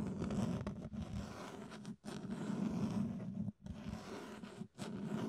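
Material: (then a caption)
Plastic. Fingertips scratch and scrape across the ridged sides of an empty, hollow clear plastic food container. The sound is a continuous, low, rasping scrape with a steady buzzing tone, delivered in several long passes separated by brief pauses.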